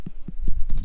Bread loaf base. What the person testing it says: if you flip it upside down tap it it sounds Hollow it should be done